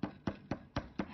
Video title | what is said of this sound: How to Make a Clay Whistle | if you pound on it tap on it it has really kind of a thud to it so you can tell that it's Hollow